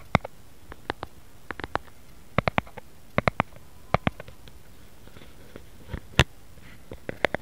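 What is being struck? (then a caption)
Round plastic lid. Fingertips and nails of both hands tap a flat, round white plastic lid with a raised rim, likely hollow, while the hands hold its edges. About 19 short, dry taps land in irregular, playful bursts, each a dull low thump with a bright click that dies away almost at once over a quiet background.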